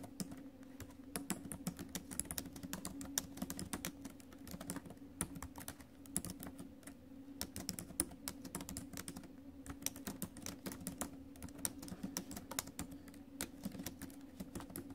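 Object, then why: Laptop keyboard with plastic keys in a metal body. Fingertips and acrylic nails type on the plastic keys of a silver metal laptop, producing a fast, continuous stream of short, bright clicks and taps. A steady low hum sits beneath the typing throughout.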